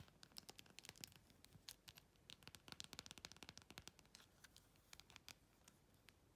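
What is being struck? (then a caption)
Clear plastic phone case with acrylic rhinestones. Long, glossy red pointed nails quickly scratch and tap across a hand-sized, thin, hollow clear plastic phone case covered in glued-on faceted plastic rhinestones of several sizes, with a patterned side. Dozens of quiet, dry, bright clicks and scratchy ticks come in a fast, uneven stream, each dying away almost instantly.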